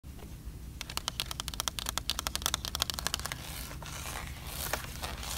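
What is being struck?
Paper greeting card.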